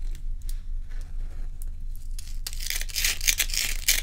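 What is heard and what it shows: Long pointed nails quickly scratch the frosted top surface of a large, solid, round ice block over a steady low hum. Faint, scattered scratches in the first half give way after about two and a half seconds to louder, dense, bright rasping strokes that continue to the end.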